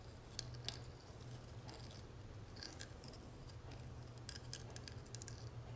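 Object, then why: Small metal cigarette case with textured lid. Long nails tap and scratch the dotted gold texture inside the lid of a small, hollow gold metal cigarette case lying open on a marble surface. Quiet, sharp, bright clicks and scratchy ticks come in quick clusters over a steady low hum, each dying away almost instantly.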